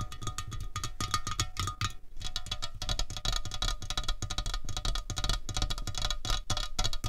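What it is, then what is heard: Aluminium drink can, tapped with fingernails. Long fingernails of both hands tap rapidly on a slim, hollow aluminium Coca-Cola Cherry can resting on a tablecloth. The result is a dense stream of short, dry clicks with bright high edges and a low hollow thump beneath, each tap dying almost at once. There is a brief lull around the two-second mark before the tapping resumes.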